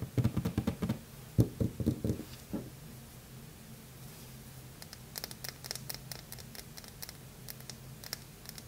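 A small bar of Lever 2000 soap, painted red with gold glitter and resting on a marble surface, is held in both hands and handled with long red-painted nails and fingertips. The first two and a half seconds bring a quick run of loud, dull, low tapping knocks. Quieter, sparse, bright clicking ticks follow over a soft low hum.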